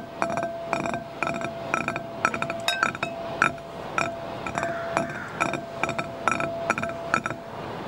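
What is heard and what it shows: Fingertips and nails tap and scratch the inside bottom and wall of a shallow, empty, clear green-tinted glass bowl. Quick, bright glassy clinks come in rapid clusters across the clip, each with a short, pitched ring around 1.3 kHz. Softer scratching fills the gaps between the taps.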